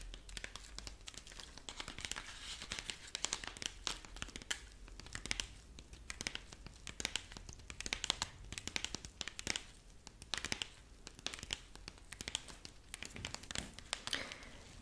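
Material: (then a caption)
Corn husk. A rabbit figurine made of dried corn husk is turned in the hands while long nails scratch and rub its dry husk strips. The result is a dense, bright run of crisp crinkling and crackling, with quick papery scratches that swell and ease in waves throughout.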